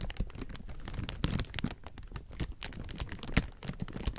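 Fingertips scratch and crumple a large heap of thin, clear plastic film, making dense, quick crinkles and rustles. Many short, sharp crackles are heard, with bright highs and some low handling rumble.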